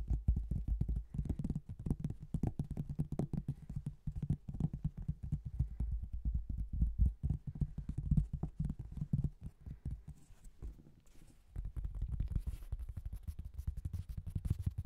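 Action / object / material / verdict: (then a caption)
tap / thin cork tile / cork / none. A thin, flat, marbled cork tile is rapidly tapped with fingertips from above, then held upright and tapped. The result is a dense run of soft, muffled, low thuds with almost no ring, easing briefly before resuming with a slightly brighter edge.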